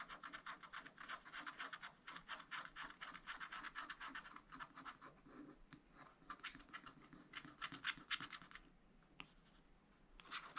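A wooden stylus scratches steady strokes over strawberry outlines on a black coated scratch-art paper page in a spiral pad. Quick, dry, bright scratches come about four per second, with short quieter gaps near the middle and toward the end. The strokes are soft, close and crisp, with no ring after each one.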